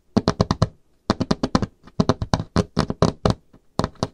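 Long painted nails rapidly tap and knock on a solid, varnished wooden tabletop with visible grain. About 22 short, dry knocks come in quick bursts separated by brief pauses, each a low, woody thump with a faint bright click on top. The knocks die away almost instantly, with no ring.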